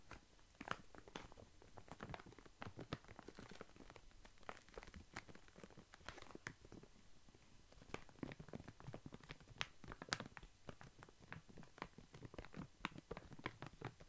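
A full plastic foil snack bag of walnuts is tapped, scratched and crinkled with fingers. The result is a steady stream of sharp, brief crinkles and clicks with bright crackle over a soft low rustle, all at a quiet level.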